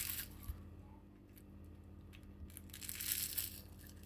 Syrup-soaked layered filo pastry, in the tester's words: el sonido crujiente de nuestro postre